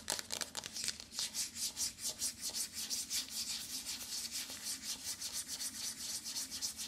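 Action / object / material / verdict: scrape / cardboard eyeshadow palette / cardboard / none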